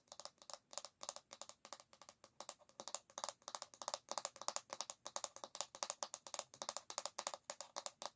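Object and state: Bamboo hairbrush back.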